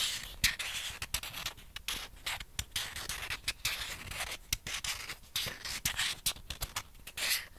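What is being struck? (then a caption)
Plastic ping pong ball. A single small, hollow, white plastic ping pong ball held in both hands is scratched and rubbed with long painted fingernails. The result is a dense run of bright, dry scratching and sharp clicking ticks, concentrated in the high frequencies, with very short decay between strokes.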